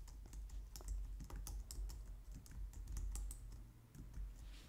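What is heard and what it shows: Both hands type on a white plastic low-profile wireless keyboard, striking the keys with long painted nails and fingertips. A steady run of quick, light clicks and taps with bright edges rides over a constant low rumble.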